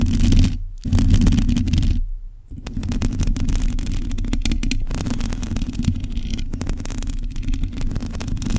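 Long nails on both hands scratch a black metal mesh microphone grille, producing a dense, continuous rumbling scrape that is heavy in the low end with faint crackly detail above. The scratching drops out briefly near the start and again for about half a second around the two-second mark, then carries on steadily to the end.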